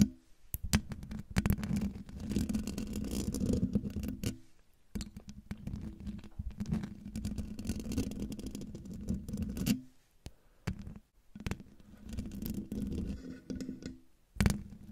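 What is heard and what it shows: Long dark nails scratch both sides of the hollow metal mesh grille on a silver Blue Yeti microphone. The result is dense, rumbling, low-heavy scraping with a steady tone near 200 Hz, broken by brief silent pauses between bursts.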